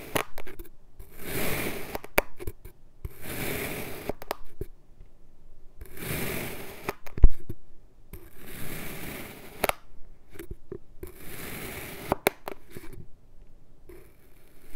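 An iridescent metal knife cuts a solid blue kinetic sand block resting on a white surface with repeated slices. Each slice gives a soft, gritty, crunchy scrape that spreads from low to bright. Short sharp clicks and taps come between the strokes, all quiet and close up.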